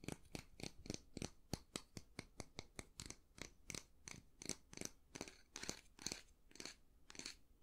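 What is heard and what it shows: Fingertips and nails tap and scratch along the long flat handle of a solid, light wooden brush with a natural-bristle head. About two dozen quick, dry clicks follow one another in a steady, uneven rhythm, each short and bright with a scratchy high edge over a soft low thump. The level stays quiet throughout, and nothing rings after each tap.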